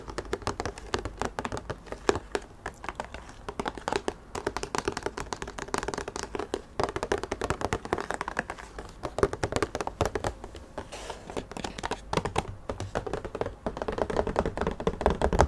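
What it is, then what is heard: Cardboard box. Fingertips tap and handle the walls and flaps of a medium, printed cardboard product box for a hair trimmer, held hollow and open with its flaps up in both hands. The result is a fast, dense run of short, dull taps and light handling noise. The sound is mostly low-mid, with little high content and almost no ring after each hit.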